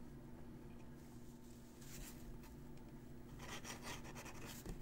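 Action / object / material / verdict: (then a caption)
scrape / metal-nib dip pen on a thin paper sheet / paper / none. A metal-nib dip pen held in the fingers scratches across a thin, crumpled, aged-looking sheet of writing paper lying flat while writing cursive. Soft, bright, scratchy nib strokes come in irregular bursts, busier toward the end, over a faint steady low hum.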